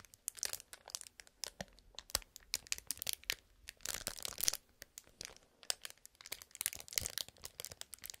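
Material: Plastic film.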